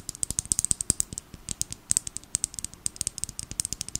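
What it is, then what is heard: Plastic glitter bottle. A small filled plastic glitter bottle, held in the hands, is tapped quickly with long nail tips. It makes a rapid, uneven run of about thirty sharp, dry clicks, bright and high with almost no ring and little low end, like a ratcheting rattle.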